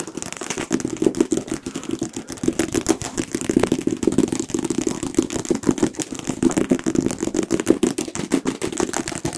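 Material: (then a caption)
Paper. A solid paperback book with a printed paper cover, held near the microphones, is tapped and scratched on its cover with fingertips and nails. Fast, dense, short dry taps with a low-mid thump run continuously, mixed with scratchy rustling, for the whole clip.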